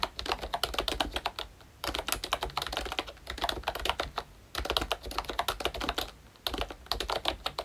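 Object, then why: Plastic membrane keyboard with round plastic keycaps. Fingertips type steadily on a full-size ROYCHE Disney Mickey Mouse retro membrane keyboard with a hollow pink plastic case and round black plastic keycaps. Quick bursts of light, bright plastic clicks and clacks are broken by three brief pauses, and each keystroke dies away almost instantly.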